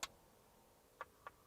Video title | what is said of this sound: BULLET PROOF | if I tap it you can hear the difference